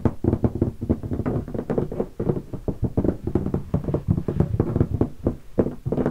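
Fingertips of both hands drum and knock rapidly on the lid of a closed, hollow black leatherette hardshell guitar case lying on carpet and covered in stickers. The taps are dull, hollow thumps with a low body resonance, dying away almost instantly, with no bright ring.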